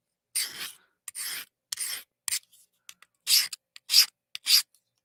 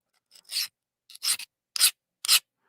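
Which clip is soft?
The first.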